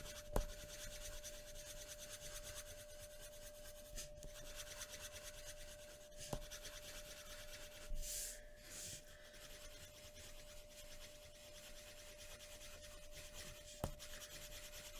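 A pencil held in the hand rubs over a flat white paper drawing sheet resting on a wooden tabletop in dense shading strokes. A steady, quiet scratching and rubbing texture runs throughout, with a faint constant hum underneath. Four brief sharp ticks stand out, and a brighter rasping swell comes near the middle.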